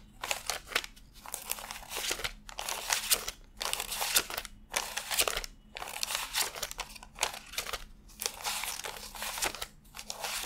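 Fingertips lift, flick and rub a fanned stack of thin cotton-paper $100 bills while counting them by hand. Bright, crisp paper crinkling and rustling come in short, uneven bursts about once a second, with almost no low end and quick gaps of near-silence between flicks.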